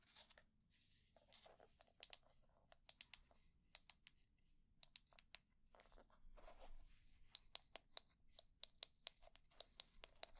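Long nails scratch the wooden pins of a wooden hair brush with a solid wood body, then tap and scratch its flat wooden back. Quiet, bright scratchy rustles mix with many sharp, dry clicks and taps that stop instantly with no ring. The later taps come as a quick, irregular series of crisp ticks.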